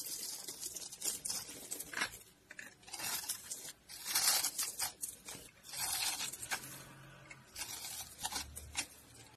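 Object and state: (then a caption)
Dry soap bar. A box-cutter blade carves and scrapes strips off the cut surface of a palm-sized, solid mint-green bar of dry soap held in the hand. The result is a series of dry, crunchy, bright scraping strokes with a papery tearing edge, varying in loudness and separated by short quiet gaps. Shavings pile up as the blade works, with other soap crumbs lying nearby.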